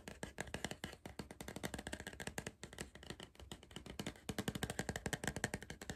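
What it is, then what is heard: Cardboard crisp tube. Fingers tap quickly and continuously on a cardboard crisp tube, making a dense run of short, dry knocks. Each tap has a hollow low thump and a bright papery click, and dies away almost at once.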